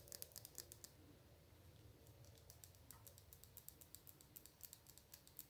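Long blue nails tap a small glass nail polish bottle, full of orange-red polish and topped with an orange plastic cap, striking both the glass and the cap. A quick series of bright, high clicks rings out in short bursts with pauses in between, each tap dying away almost at once over a faint low rumble.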